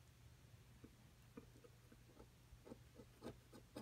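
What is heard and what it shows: A thin metal pick tool scratches and scrapes a solid plaster excavation block resting on a table, knocking plaster dust loose. The result is a quiet run of short, dry, irregular scratches and scrapes over a low steady hum.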